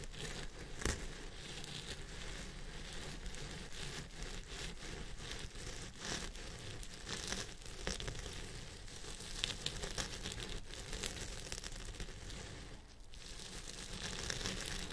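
Fingertips and nails of both hands scratch the fibers at the top of a purple synthetic fiber wig resting on a head form. The result is a steady, dense crinkling and rustling scratch with bright, crackly texture over a soft low rumble, briefly dipping near the end before resuming.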